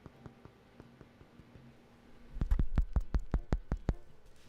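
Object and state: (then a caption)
Bread loaf, hollow (baked through). A freshly baked loaf of bread is tapped all over to check whether it is done, producing a series of dull, low thumps, first faint and then louder and quicker. The taps sound hollow, showing the loaf is baked through before it is cut down the middle.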